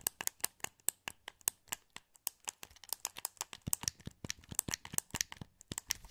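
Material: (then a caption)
Plastic. Fingertips click the buttons of a hollow, translucent green plastic PS2 wireless controller held in both hands. About thirty quiet, sharp, bright clicks come in a quick, uneven run, each dry and gone at once with no ring.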